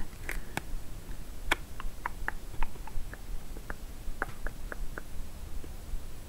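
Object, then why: Small paperboard box. Long nails tap and scratch the surface of a small, hollow, light-blue printed paperboard product box held in the hands. About fifteen short, light, dry taps in an uneven rhythm mix with faint scratching, over a low steady hum.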